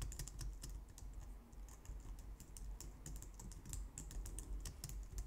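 Long nails type quickly on a white low-profile plastic computer keyboard, recorded close up. A steady stream of short, dry plastic clicks and taps with bright edges sits over a constant low rumble, and each keystroke dies away almost at once.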